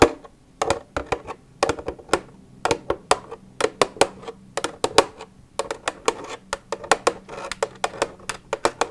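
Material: Plastic.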